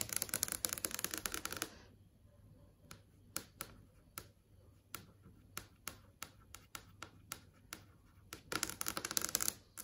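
Long acrylic nails tap on a large flat LCD TV screen showing video thumbnails. Fast, dense flurries of bright, sharp clicks open and close the clip, with slower, separate taps in between. Each tap is crisp and dies away instantly.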